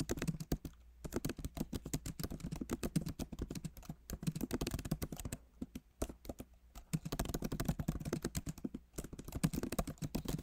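Both hands type rapidly with fingertips on a backlit MacBook Pro Magic Keyboard with plastic keycaps in an aluminum body. Dense, short, dull clicks and taps come in bursts, with brief pauses between runs. The sound is soft and low-weighted, with little high brightness.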